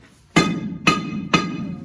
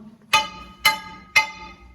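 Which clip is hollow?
The first.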